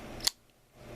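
The satin-finish 440A steel blade of a Sheffield 12711 Gunnison liner-lock folding knife, with an aluminum handle, full steel liner and dual thumb studs, is flicked open. The blade locks with a sharp, bright click over a low background hiss. The lockup sounds somewhat hollow, though not super hollow.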